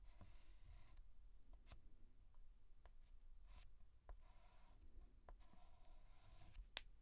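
A white chalk stick held in the fingertips is scratched and stroked across a large, flat blackboard while writing the outline of a letter. Soft, airy scraping strokes alternate with short, bright ticks and taps as the chalk meets the board. All of it sits quietly over a low background rumble.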